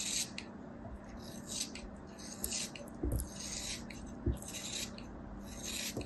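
A small, solid chunk of kinetic sand held in the fingers is scraped and sliced with a metal craft knife blade. Repeated bright, gritty rasping strokes sound over a steady low hiss, with a few soft, dull crunches partway through.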